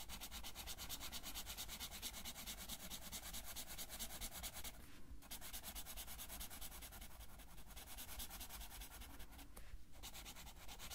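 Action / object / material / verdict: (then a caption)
scrape / felt-tip marker on a thin paper sheet / paper / none. A blue felt-tip marker colors a thin paper coloring sheet that lies flat and is held by the fingers of the left hand, with continuous rubbing strokes. A quiet, steady, rapid scratching hiss runs throughout with a low background rumble, and brief pauses come near 5 and 10 seconds.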